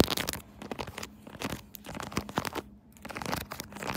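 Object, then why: Silicone pop-it phone case. Long nails tap and scratch the bubbles of a hot pink silicone pop-it phone case on a phone mounted on a tripod. The clip is a quick run of soft, dry clicks and scratchy, crinkly rasps, with brief pauses between the bursts of tapping.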